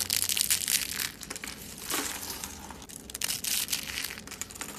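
Dry purple soap rose rolls and flakes are squeezed and crushed in a bare hand, giving a dense, bright, crinkly crunching with crackles and snaps as brittle shards break off. The sound is almost all high, with little low end and no ring after each crackle.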